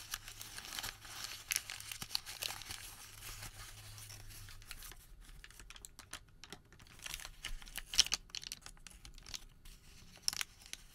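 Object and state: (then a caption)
Thermal paper receipt. Fingers unfold a crumpled Home Depot thermal paper receipt and stretch it flat, producing crisp, bright crinkling and papery rustles. Sharp crackles stand out over softer, steady handling, and a faint low hum sits underneath for the first few seconds.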